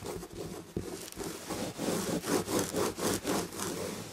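Long red-painted nails of both hands scratch the red and gold damask chenille upholstery on a chair back. Quick, fairly regular rasping strokes, about four per second, start soft and become louder, brighter scratching bursts midway through, each with a dry, short decay.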